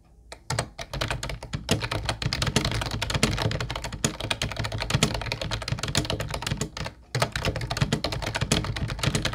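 Fingertips of both hands type steadily on a mint-blue plastic Ubotie retro keyboard with round white keycaps. The sound is a dense run of quick, short clicking taps with a hollow low body and bright clatter, broken by two brief pauses, one near the start and one near the seven-second mark.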